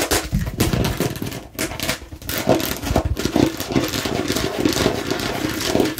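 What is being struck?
Plastic watermelon-slice bottle.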